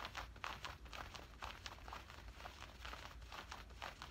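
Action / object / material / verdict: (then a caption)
scrape / woven cotton cargo pants / cotton fabric / none. Both hands scratch and grip the woven cotton fabric of worn camouflage cargo pants with their fingertips, working over the leg and the pocket. Soft, dry, bright scratching bursts repeat at roughly two per second in an uneven rhythm over a faint low rumble. The result is quiet, close, crinkly fabric rasping with short, dead decays.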